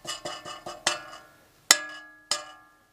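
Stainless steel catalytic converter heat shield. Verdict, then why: Loose. Seven taps on the loose, corrugated stainless steel heat shield of a new catalytic converter in a 1991–1995 Honda Civic DX exhaust give bright, tinny metallic clinks with short, buzzing rattles and a faint ring. The shield is held on by only a couple of welds, and this faulty rattle is the noise heard constantly while driving.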